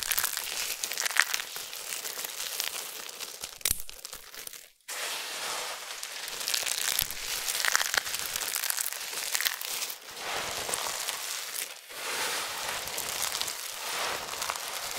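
Cupped hands squeeze and crumble thin, brittle amber soap flakes from a large pile of dried soap flakes, then fingers rake through the pile. Dense, bright crinkling and crunching runs almost continuously, broken by a near-silent gap around five seconds and brief dips near ten and twelve seconds.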